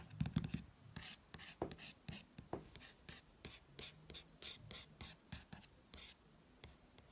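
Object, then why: Glossy paper magazine cover. Fingertips trace and rub across the glossy paper of the same magazine cover, producing a quick series of short, soft, bright swishing strokes. A few dull low bumps sound near the start, and the level stays quiet throughout with very little ring after each stroke.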